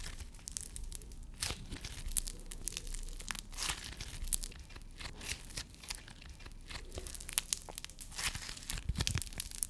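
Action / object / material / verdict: scrape / foam-bead slime / foam beads / none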